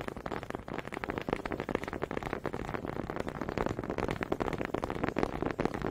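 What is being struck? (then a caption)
Wooden honey dippers. Two small solid wooden honey dippers with grooved heads, held in both hands with long red nails, are knocked and rubbed together in front of a mic. The result is a quick, uneven stream of dry, hollow wooden clicks and rasping scrapes that die away almost at once.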